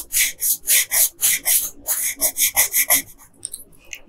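A yellow colored pencil, held in a hand with long pink nails, is rubbed in strokes over the hair of a Princess Peach picture on a flat paper coloring page. The strokes make bright, dry, scratchy rasps in a fast, uneven rhythm. The last second trails off into a few fainter, lighter scratches.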